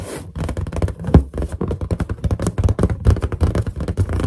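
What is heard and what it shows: Long nails on both hands tap and scratch a large, hollow, inflated white latex balloon in a quick, steady run of soft hits. Each tap is a short, deep, hollow thump with a brief scratchy edge, dying away almost at once. The sound stays mostly low and muffled, with little brightness.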